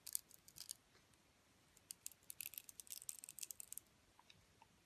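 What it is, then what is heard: Bar soap being carved. A metal utility blade cuts into the glittery coating of a solid rectangular bar soap with a white core, held in a long-nailed hand. Quiet, bright, crisp crackling and scraping clicks come in quick clusters, with a few sparser ticks at the end. There is almost no low end.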